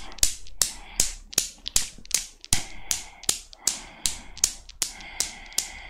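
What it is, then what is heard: Steel Newton's cradle. A small chrome steel Newton's cradle with five solid steel balls on a metal frame is set swinging by long nails. It gives sharp, bright clicking knocks in a steady rhythm, each dying away almost at once.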